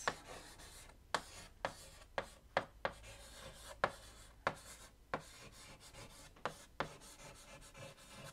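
White chalk held in the fingertips scratches list items onto a large flat black chalkboard in a wooden frame. Soft, dry rubbing strokes are broken by about a dozen short, sharp taps as the chalk meets the board, with a faint mid-pitched squeak under a quiet, bright scratchy hiss.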